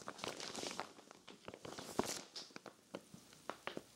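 Hands with long nails press and crinkle the plastic film of a clear vinyl zippered storage bag full of cream knit sweaters. The sound is soft, bright crinkling and rustling, broken by a series of short, sharp crackles. Everything stays quiet and light, with almost no low end.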